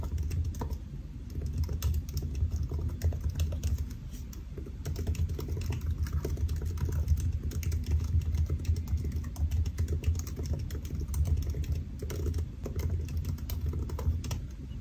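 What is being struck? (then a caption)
Laptop keyboard with plastic keys in an aluminium body. Fingertips of both hands type steadily on the black plastic keys of a solid silver aluminium laptop resting on a white desk. The result is a dense, continuous patter of soft, short, low taps with brief pauses.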